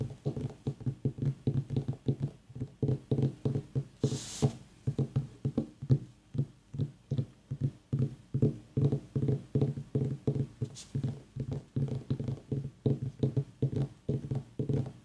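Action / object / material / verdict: tap / small white mini pumpkin / gourd / none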